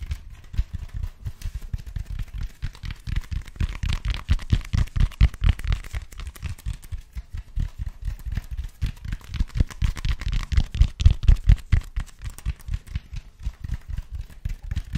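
Fingertips tap and scratch along the textured side of a large black cylindrical foam roller made of speckled expanded foam, held upright in both hands in front of the mic. Rapid, uneven tapping produces soft, dull, low thuds that die away almost instantly, with faint scratchy hiss between them, rising in loudness in a few bursts over the clip.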